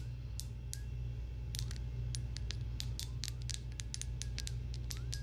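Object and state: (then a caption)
Small glass jar. A small, clear, empty-looking glass jar is held in the hands close to the microphone and tapped and scratched with long acrylic nails. Quick, bright clicks and thin scratches come in a steady, uneven run over a constant low hum. The taps are short and dry, with only a brief ring.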